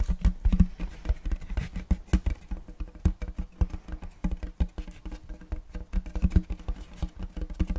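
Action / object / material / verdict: tap / round wooden checkerboard tray / wood / none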